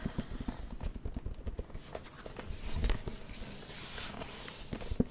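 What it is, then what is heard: Plastic light-up drawing pad. Fingertips tap on the glowing plastic screen of a plastic light-up drawing pad held in both hands. The result is a quick run of short, dull, low-heavy taps that die away almost instantly, with a faint soft rustle between them.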